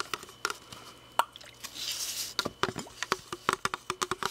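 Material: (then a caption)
Plastic. A hand-sized, hollow red plastic drinking water bottle is held close and tapped and scratched with fingertips and nails. About twenty quick, dry, hollow clicks with a mid-pitched knock die away almost instantly. Midway, a soft, bright scratching hiss swells and fades before the tapping speeds up again.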